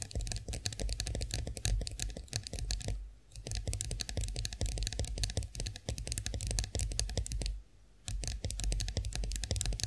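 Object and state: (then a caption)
Chrome face roller. Long nails on both hands tap rapidly on the smooth handle of a chrome-finished face roller standing upright. The result is a dense stream of short, bright clicks over a low thudding base, with two brief pauses along the way.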